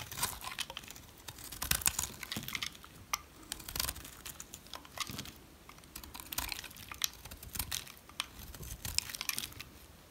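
A utility knife shaves thick flakes off the face of a solid, dry, brown rectangular soap bar. The cuts make a run of crisp, dry scraping and crackling sounds with bright, papery crunches and quick, dead stops. A faint low hum sits underneath.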